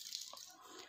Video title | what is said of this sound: अब बच्चे भी बना लेंगे आलू के पापड़।दो आलू से 100 पापड़ बनाए। | बहुत ही खस्ता और कुरकुरी बने हैं मैं आपको तोड़ कर दिखा रहे हैं आवाज से पता चल जाएगा